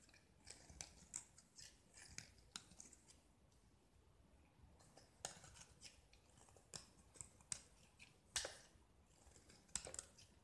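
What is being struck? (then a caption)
Painted gypsum plaster block. A metal utility-knife blade scrapes and carves a small solid gypsum block with an orange-painted surface, cutting through to the white plaster beneath as chips and powder fall. The result is a quiet series of short, crisp, bright scratches and clicks with almost no ring, scattered irregularly over a faint hiss.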